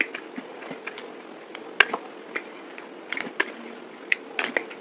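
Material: Soap.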